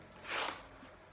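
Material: Nothing is struck.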